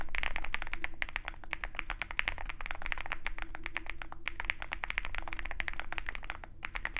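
A compact 65% Zoom65 mechanical keyboard with a dark case and white PBT keycaps is typed on continuously with the fingertips of both hands. The result is a dense, irregular stream of short, crisp clacks centered around 2 kHz, with a low background rumble underneath.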